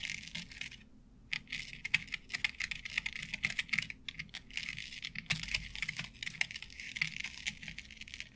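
Long nails tap and scratch across a flat board covered with synthetic turf. Quick, crisp taps mix with a bright, bristly rustle that sits almost entirely in the high range. The sound stops briefly near the start, then continues steadily.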